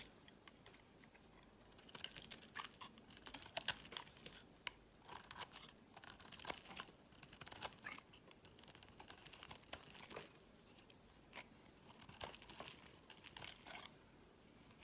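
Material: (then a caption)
Soap. A metal utility blade shaves thick curls from the edge of a solid orange soap bar held in the hand. Bright, crisp scraping and scratching strokes come in short bursts over a quiet background, with brief crunchy crackles as each curl peels away.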